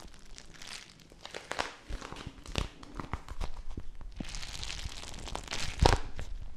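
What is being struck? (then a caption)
Plastic bag of gel beads. A small clear plastic bag filled with teal gel water beads is squeezed and crinkled by fingertips with long nails. Dense crinkling and crackling rustle with many soft clicks and squishy pops runs throughout, swelling into a louder burst near the end.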